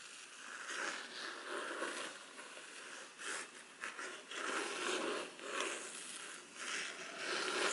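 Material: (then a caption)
Faux leather. Long black artificial nails slowly scratch and tap a black, grained, rigid faux-leather-covered folder held upright. A steady, dry, bright scratching rises and falls with soft taps, with no low end and no ring after each touch.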